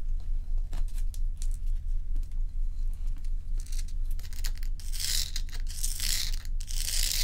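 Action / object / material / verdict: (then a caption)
scrape / block of ice scratched and tapped with fingernails / ice / none. Long pointed nails scratch and tap the frosty surface of a large, solid, dome-shaped ice block resting on a dark towel. Dry, crackly scratches and light taps sound over a steady low hum, and the scratching grows denser and brighter in the second half.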